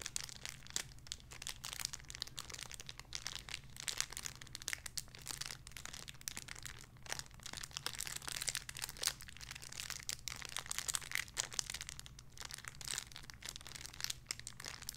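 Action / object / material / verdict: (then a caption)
scrape / thin plastic bag holding a soft toy / plastic / none. A small clear crinkly plastic bag holding a soft pink squishy toy is crinkled with the fingertips and nails of both hands. The result is a steady stream of bright, crackly crinkling with many quick sharp snaps, over a faint low hum.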